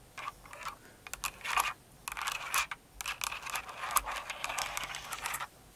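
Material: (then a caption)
Plastic. Long nails tap and scratch across the plastic keycaps of a Cinnamoroll-themed kawaii mechanical keyboard. Bursts of bright clacking alternate with scratchy scraping sweeps, each click dying away almost instantly, between short quiet pauses.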